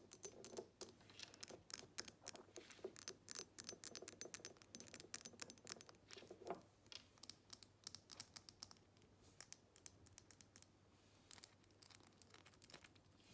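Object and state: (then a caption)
Glass perfume bottle. Long nails tap rapidly on the sides and base of a square glass perfume bottle filled with liquid, first while it sits on a table and then while it is held. The taps are crisp, bright clicks with almost no ring, over a faint low hum. They are louder and denser in the first half, then grow softer and sparser.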